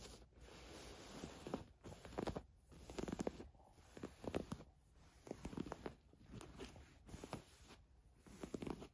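Long nails scratch across the surface of a black ribbed knit top lying flat. Quiet, soft rasping strokes come in short repeated bursts, with a dull scratchy texture concentrated in the low-mids.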